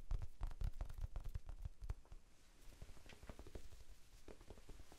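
A small, soft, solid rectangular pink foam sponge is held in both hands and tapped with the fingertips. The taps make quick, muffled, low thuds in a loose, uneven rhythm. They are louder at first and grow softer after about two seconds.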